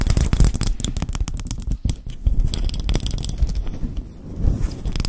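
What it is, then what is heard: Bamboo lid scratched and tapped with nails. Long acrylic nails scratch and tap across the printed top of a round, flat, palm-sized bamboo lid decorated with a flower-and-butterfly print, held just above a fluffy mic cover. The result is a dense, continuous run of quick, dry scratches and soft taps. It sounds heavy and muffled in the low end, with faint bright flicks riding on top.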